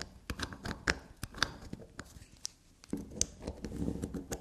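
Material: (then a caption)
Soap. A solid black unicorn-shaped soap bar on a table is scratched and tapped with long black nails. The clip is a quick, uneven run of sharp dry clicks and taps mixed with soft scraping, with bright, crisp nail contacts that die away instantly.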